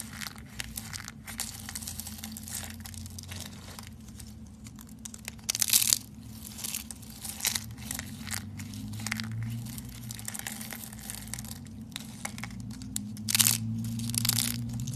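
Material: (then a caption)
Soap. Thin, ribbed, brittle orange dry soap sheets are snapped and crushed between fingertips with red nails over a pile of orange soap shards. Dense, irregular bright crackling and crunching runs throughout, with louder bursts of snapping around the middle and near the end, over a steady low hum.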